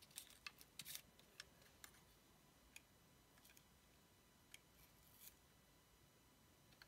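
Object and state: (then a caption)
Bar of soap being shaved. A dark blade shaves long strips off a palm-sized, orange oval bar of solid soap with a paper mermaid-cat sticker. Crisp, bright scraping snaps come in an irregular series, loudest near the start and fading to sparser, softer cuts over a quiet, steady hiss.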